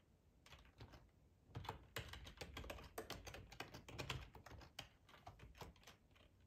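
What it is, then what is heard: Plastic computer keyboard being typed on. Fingertips type on the keys of a black plastic, hollow-bodied split ergonomic computer keyboard. Quick, uneven bursts of soft tapping mix a dull low thud with a bright plastic clatter, and each tap dies away almost instantly. The typing speeds up and grows busier in the middle, then thins out toward the end.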